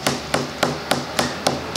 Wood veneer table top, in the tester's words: it has that high pitched, almost like a snare drum thud, a higher pitched ring